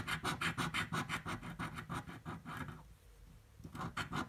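A metal coin edge scratches a purple paper scratch-off lottery ticket lying flat on a table in quick, rhythmic back-and-forth strokes. The strokes make gritty, bright rasping bursts over a low rumble. They pause briefly near the end, then resume.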